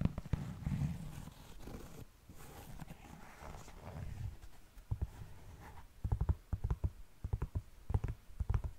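A black knit textile sneaker is held by the heel while fingertips and long nails scratch and tap its fabric upper and laces. Soft, low, muffled scratching and rustling fill the first half, then quick, sharp taps come in clusters toward the end.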